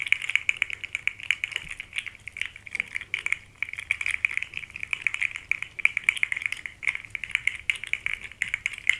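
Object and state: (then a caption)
Plastic fidget slug toy. A small rainbow, segmented plastic articulated slug toy dangles from fingers and is shaken. Its segments clack together in a fast, continuous patter of short, dry, bright clicks centred near 2 kHz, with almost no low end and no ring after each click.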